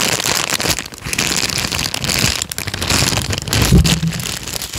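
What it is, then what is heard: Paper sheet being crinkled. A small folded peach paper sheet is squeezed and crinkled with the fingers of both hands. It gives a dense, continuous crackle of sharp, bright crinkles over a soft low rumble, swelling and easing without clear gaps.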